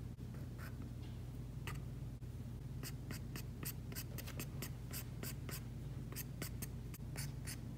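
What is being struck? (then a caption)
Stylus tip on a glass tablet screen with a matte plastic film. The plastic tip of an Apple Pencil, held in a hand with long painted nails, scratches and taps across an iPad's glass screen covered with a Paperlike matte plastic film while drawing lines. Short, bright, scratchy strokes come in a quick, irregular series over a steady low hum.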